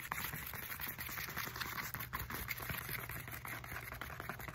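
Long nails scratch quickly along the ridges and knobs of a black textured foam roller with a hollow core. The result is a dense, continuous, rattling scratch at a steady level, with a bright hiss above a low hollow rumble.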